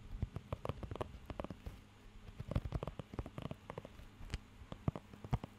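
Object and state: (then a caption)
Rubber pet grooming glove. Fingertips and nails scratch and tap across the nubs of a blue rubber pet hair grooming glove. The result is a quiet, irregular patter of short, dry, muffled ticks with a soft low thump, coming in quick bursts with brief pauses between.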